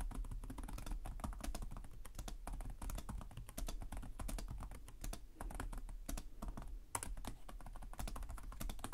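Both hands type rapidly with their fingertips on the plastic chiclet keys of a black laptop with a hollow chassis. A dense, steady stream of short, crisp clicks and taps carries bright clacks over a constant low rumble, and each keystroke dies away almost instantly.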